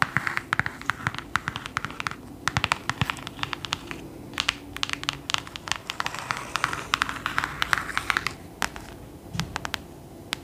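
Long nails tap rapidly on the cover and spine of a thick, solid clothbound hardcover book with gold embossing. The dense run of short, crisp clicks dies away almost instantly, with faint scratchy textures between the taps.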